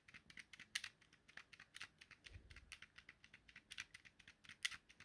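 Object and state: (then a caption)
Plastic game controller button clicks. A thumb presses and clicks the X, Y and A buttons and the stick on a small, hollow, yellow plastic Nintendo Joy-Con controller. About 26 quiet, sharp clicks come in a quick, uneven run. They are bright and snappy, centred around 2 kHz, and die away almost instantly, with a faint low thump partway through.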